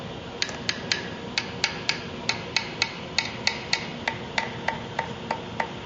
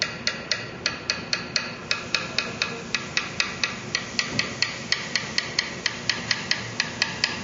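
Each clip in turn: First: loose guitar fret. Second: tightly seated guitar fret.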